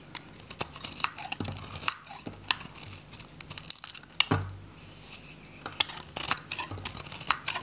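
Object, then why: Bar soap shaved with a metal knife. A metal utility knife shaves curls from the face of a solid, hand-held, orange, varnished, dry Godrej No.1 soap bar. Bright, crisp scraping and cutting strokes crackle in quick bursts. Sharp clicks and short pauses fall between them, with a louder, fuller cut near the middle.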